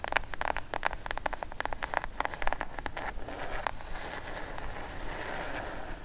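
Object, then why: Cardboard box. Long acrylic nails tap rapidly on the top edge and lid of a plain brown kraft cardboard box, hollow and closed, held upright and then laid flat. A quick run of dry, hollow clicks with a papery ring fills the first half, then gives way to a softer, steady scratchy rustle across the cardboard.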